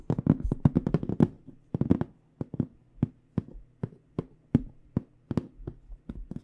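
Long dark-painted nails and fingertips tap on a hollow, medium AKG microphone hard carrying case with an aluminum frame, metal corners and black panels, held against the chest. A quick, dense flurry of sharp, dry clicks and knocks is followed by slower, spaced taps. Each tap stops almost at once, with a low hollow thump under a faint steady hum.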